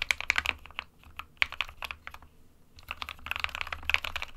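Both hands type with their fingertips on an SK61 small 60% mechanical keyboard with a white plastic case and plastic keycaps, resting on a printed desk mat. Rapid, bright, clicky key taps come in quick bursts with short, dry attacks and a soft low thud beneath them. The typing briefly pauses near the middle before a dense flurry resumes.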